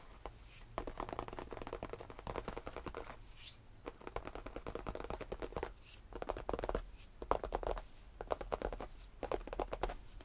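Both hands tap quickly with their fingertips and scratch with short nails on the cream faux leather padded top of a tufted bench. Dense bursts of soft, muffled taps and scratchy rustling come in waves, with brief quieter pauses between them, over a low steady hum.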